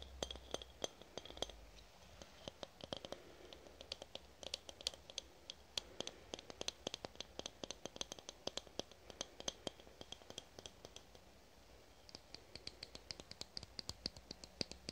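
A fingernail scratches and taps along the body and cap of a red aluminum spray can. Dense, rapid, dry clicks and scratchy ticks sound bright and high, each stopping instantly with no ring. After a brief quieter stretch near the end, the tapping picks up again.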